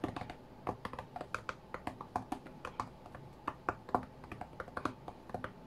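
Fingertips from both hands tap quickly on the glass touchscreen of a white iPad lying flat on a mat, as if playing a rhythm game. The result is a rapid, uneven stream of short, dry, mid-pitched clicks with little low end and almost no ring, much like soft keyboard typing.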